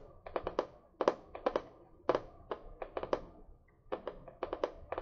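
A medium spiral notebook with a cardboard cover, held upright, is tapped on the cover with long nails in quick clustered bursts of about 19 light taps. Each tap is a short, dry, papery tick centered around 500 Hz with almost no low end and a very brief ring.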